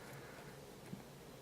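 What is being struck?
Nothing is struck.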